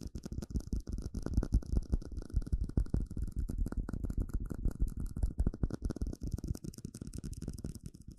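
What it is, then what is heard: Clear plastic cup tapped. A small, hollow, empty clear plastic cup is tapped rapidly with fingertips and nails in an uneven rhythm. Each tap is a short, dull, low thump that dies away instantly with no ring, and the taps run together into a steady crackly patter.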